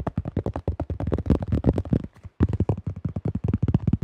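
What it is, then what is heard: Plastic disc golf disc. Fingertips tap quickly on the flight plate and rim of a tan plastic disc golf disc with a blue rim and a thin shell. About two dozen short, dull, low-heavy taps come in a rapid run, with a brief pause just past the two-second mark before the tapping resumes.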